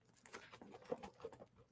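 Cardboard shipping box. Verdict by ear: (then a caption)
Loose. A cardboard shipping box, a mystery package sent by scammers, is shaken, and a loose object can be heard rolling and knocking around inside. The sound is a quick series of light, dry taps and rattles with short bursts, and the contents stay unidentified.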